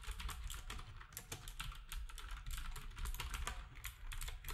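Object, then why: Plastic computer keyboard. Fingertips type steadily on a black compact plastic typewriter-style keyboard with round plastic keycaps, while other devices nearby stay untouched. Quick, bright clicky taps come in an irregular stream over a constant low hum.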